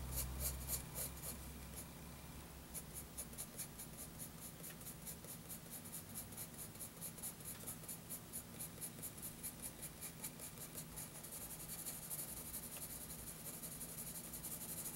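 A graphite pencil draws and scratches strokes on a page of a spiral-bound lined paper notebook. Quiet, bright scratching strokes repeat in a fairly steady rhythm of about four per second over a constant low hum, thickening into denser scraping toward the end.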